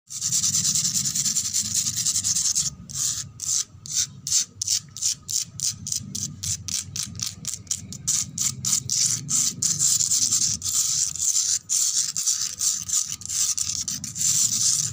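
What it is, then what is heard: Concrete floor scratched with nails. Long red fingernails scratch rapidly across a flat, rough grey concrete floor with worn red paint marks and loose grit, next to a wall edge. A bright, hissy scraping runs steadily, then breaks into quick separate strokes in the middle before blending back into continuous scratching.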